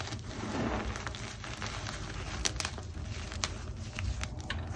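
Both hands with long painted nails squeeze and crumble a large pile of crushed white gym chalk (magnesium carbonate) chunks and powder resting on a marble surface. A steady, dense crackling and crunching runs throughout, with a low rumbling bed and sharp, bright snaps standing out here and there.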